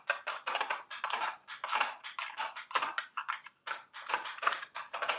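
Very long, sharp red acrylic nails tap and scratch the sides of a small, hollow, printed cardboard Dubble Bubble eggs candy box held in both hands. The result is a rapid, uneven series of dry, papery clicks and scratchy bursts, centered around 1.2 kHz with bright upper edges and almost no low end. Each one stops quickly with very little ring.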